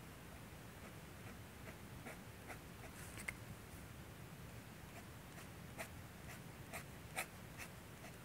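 A steel G-pen dip nib held by the fingertips scratches across a thin manga drawing paper manuscript sheet resting on a light box while inking hair. Quick, irregular scratching strokes give short, bright ticks over a low, steady background hum, with two sharper strokes standing out.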